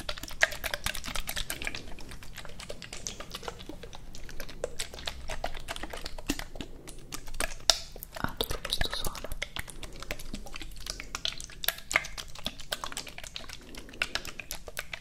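A medium frosted, green-tinted plastic cosmetic bottle, apparently holding liquid, is held close to the microphones and tapped rapidly with fingernails. The result is a steady stream of quick, dry, bright clicks with almost no ring, over a faint low background hum.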